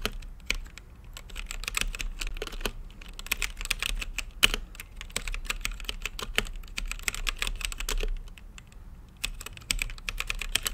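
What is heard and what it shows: Fingertips type on a mechanical keyboard with plastic keycaps and a translucent lit case, producing a rapid run of short, bright clacks over a low thud beneath each press. The strokes stop briefly around the three-second and nine-second marks before the typing resumes.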